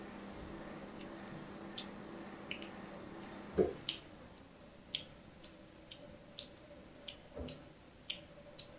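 A thin pointed tool scratches parallel lines into the surface of a hand-held, cream-colored solid soap bar. Fourteen short, crisp, bright scraping ticks stand out over a soft steady hiss, with a louder, duller knock around the middle and another near the end.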